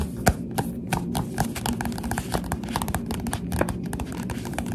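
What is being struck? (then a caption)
Paperback book with glossy cover. A solid Goosebumps SlappyWorld paperback with a glossy cover is held upright and tapped on the cover with the finger pads of both hands, which have long dark nails. A steady run of soft, dull, quickly fading taps sits over a low, muffled rumble, with a few sharper ticks standing out.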